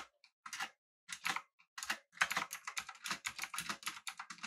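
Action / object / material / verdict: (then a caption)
tap / mechanical keyboard, aluminium body with round plastic keycaps / plastic / none. Fingertips of both hands type on a full-size, backlit, typewriter-style mechanical keyboard with an aluminum body and round plastic keycaps. Bright, crisp clacks come in short bursts with brief pauses at first, then settle into a quicker, steady run of keystrokes. Each clack stops almost at once.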